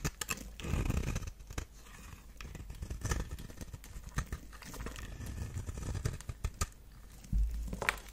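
A knife blade scrapes and carves thin flakes off the surface of a solid, dry purple bar of soap held in a long-nailed hand. Dense, crisp scraping and crackling clicks with sharp, bright transients run throughout, over a soft low rumble and a few heavier thuds.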